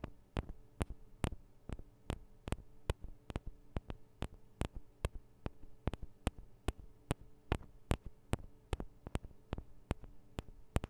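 Long acrylic nails tap on the two small cylindrical metal microphone capsules of a Tascam DR-40 recorder, giving 31 sharp, dry clicks that die away at once. The taps come at an uneven pace of a little over two per second, over a quiet, steady low hum.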